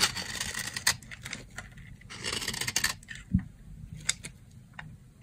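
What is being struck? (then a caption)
Soap bar scraped with a blade. A box-cutter blade scrapes fine shavings from the edge of a dry, solid brown soap bar. Bright, gritty scraping bursts alternate with short, crisp ticks and one dull low knock midway. The strokes are close and dry, with quiet pauses between them.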